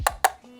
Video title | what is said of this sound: Under $30 Portable Full RGB LED Light - Weeylite S05 Unboxing | it's plastic like it sounds plastic it's a little bit Hollow too